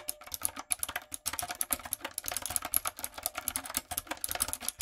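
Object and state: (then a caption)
Mechanical keyboard with plastic keycaps. A typewriter-style backlit mechanical keyboard with round brown plastic keycaps on a dark frame is typed on rapidly with fingertips and long coffin nails. Fast, crisp, bright clicks and clacks rattle almost without pause, with short gaps between bursts, and each tap dies away almost instantly.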